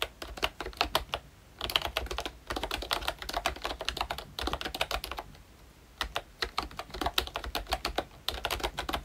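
A full-size, Mickey Mouse–themed retro membrane keyboard with round plastic keycaps is typed on continuously with the fingertips of both hands. The result is rapid, short, bright plastic clicks and taps in bursts, separated by brief pauses.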